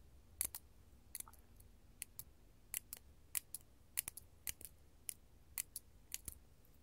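A large, solid, faceted purple artificial glass crystal gem, held in the hand, is tapped and scratched with long gold metal claw nails. Sharp, bright clicks and short ticks land in an irregular rhythm, dying away almost instantly over a low, quiet background hum.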